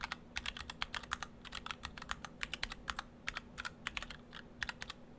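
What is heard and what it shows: Fingertips of both hands type on an Orthodox Rev3.1 split ortholinear mechanical keyboard, built in two halves with clear acrylic cases, white and cyan PBT dye-sub keycaps and stock Gateron Brown switches. About thirty quick, bright, dry clacks follow one another in an uneven rhythm, each stopping at once with no ring. A faint steady low hum sits underneath.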